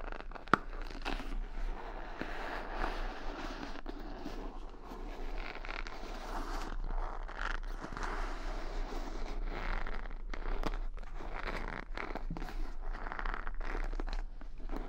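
Fingertips and long nails flick and rub the pin bristles of a wooden paddle hair brush decorated with rhinestones and beads, held bristle side toward the mic, and also scratch across the rhinestones. The result is a steady stream of dense, crackly scratching and soft clicking over a low background rumble, with one sharp click near the start.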